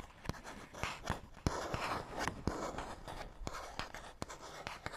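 A fingernail scratches along the surface of a small, hollow printed paperboard box, producing soft, dry rasping strokes broken by sharp, irregular clicks. The scratching is quiet and close, with little ring after each stroke.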